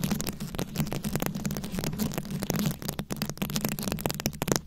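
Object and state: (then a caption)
Rhinestone-covered microphone scratched with nails. A fist-sized microphone head covered in small round rhinestones, likely plastic, is held close and scratched and tapped with very long acrylic nails. Dense, crackly scratching mixes with rapid, sharp, bright clicks over a steady low hum. The taps are quick and dry and die away almost instantly.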